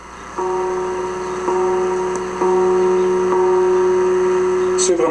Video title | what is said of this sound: Hier à Aujourd`hui ( Clocher de St Theophile Beauce) | pas besoin d'un gros coup pour la cloche commence à risonner